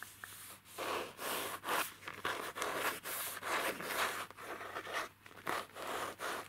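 A hollow pencil case of printed faux leather (PVC), shaped like a strawberry milk carton, is held in the hands while fingertips and nails scratch and tap its front. About a dozen separate bursts of dry, bright scratching and rubbing are heard, each swelling and fading with little low end.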